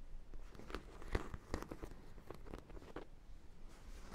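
Long black nails tap and scratch the top and side of a large, hollow sprinkle-donut dog toy, likely vinyl. Soft, dry clicks and brief crunchy scrapes come at an uneven pace over a quiet, low rumbling background, each tap dying away almost at once.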